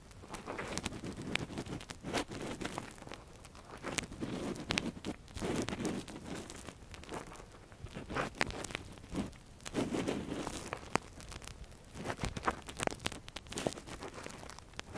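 A gloved hand works a metal earpick inside the canal of a silicone ear model, making close, dense scratching and crinkling sounds. Short bright clicks and scrapes come over a soft low rustle, in waves that swell and fade through the clip.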